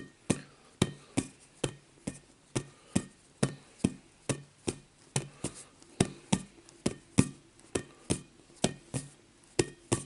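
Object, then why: Inflatable vinyl play ball. Fingertips tap the surface of a rainbow-coloured hollow inflatable vinyl play ball held in one hand near the microphone. About 25 short, dull, hollow taps land at a loose, uneven pace of roughly one per second. Each has a soft low thump and a faint bright edge that dies away almost at once.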